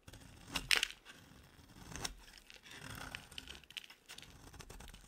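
A metal utility-knife blade scrapes and shaves a solid, palm-sized oval pink bar of dry soap into curled flakes. The strokes give bright, crisp, crackling scrapes with a few sharper snaps, and each stops with almost no ring.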